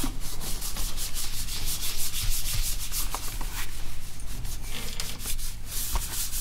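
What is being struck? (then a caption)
Plastic laptop lid and keyboard. A cloth held in the hand rubs and wipes the glossy plastic lid and keyboard surface of an open laptop held upright. The sound is a steady, close swishing rub with a strong low rumble underneath and brief bright, hissy streaks as the cloth sweeps back and forth.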